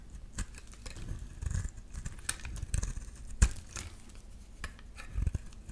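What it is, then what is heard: Bar soap being cut and scraped. A metal utility-knife blade cuts and scrapes a solid green bar of soap, shaving off chunky flakes. Soft, dull scraping is broken by short crisp clicks and crackles, with a few sharper snaps as pieces break away.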